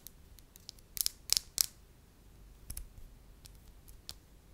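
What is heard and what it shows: A small, solid, beige soft wax ball is rolled between the palms, then pressed and tapped with long nails. Quiet, bright, dry clicks and taps with no ring-out, bunched loudest near the first and second seconds, with fainter scattered ticks before and after.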